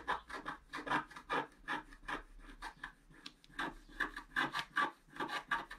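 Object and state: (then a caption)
Scratch-art paper card. A wooden stylus scratches across a flat coated scratch-art sheet held down by hand, with a paintbrush lying idle beside it. A quick, somewhat uneven series of raspy scratching strokes rises and falls at about two and a half per second. The strokes carry faint squeaky tones around 1–2 kHz and a bright hiss on top.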